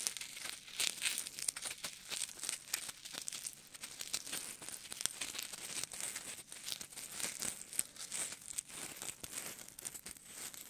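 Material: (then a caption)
Polystyrene foam. Fingertips squeeze and scratch two small solid white styrofoam (polystyrene foam) balls, one held in each hand. The result is a dense, steady run of crinkly, crunchy crackles that are bright and airy, with almost no low end and each scratch dying away instantly.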